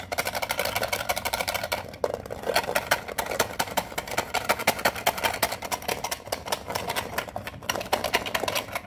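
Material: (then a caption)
Metal. Long fingernails rapidly tap the edges and lid of a small, hollow, rectangular metal Pokemon card tin with rounded edges that holds a card deck. The result is a dense stream of bright, sharp clicky taps with a light metallic tone and very short ring, with a brief dip in activity around the two-second mark.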